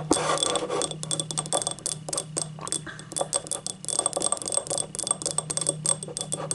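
Long nails scratch and tap the labeled base and outer wall of a small, hollow, empty yellow ribbed ceramic cup. Quick, bright clicks and dry scrapes come in a dense, uneven stream, each with only a brief ring. A steady low hum runs underneath throughout.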